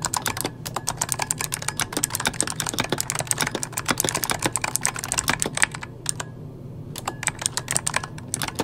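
A full-size backlit mechanical computer keyboard with plastic keycaps is typed on rapidly with the fingertips of both hands. It gives a dense run of short, bright clicky taps that stop almost at once, over a low steady hum, with a brief lull near the six-second mark before the typing picks up again.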